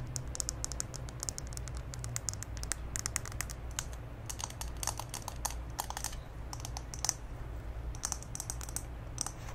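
A small pink glass candle jar full of solid wax is held in both hands and tapped and scratched with long green acrylic nails. Many quick, bright clicky taps and short scratches sound over a low steady hum, each dying away almost at once.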